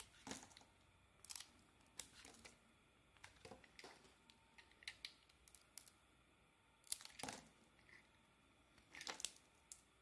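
A utility blade scrapes and carves slices off the faces of a solid pale green soap bar with an embossed logo, held in the hand. Quiet, bright, crisp scraping and crackling strokes come in short bursts separated by near silence, with little low end and almost no ring after each cut.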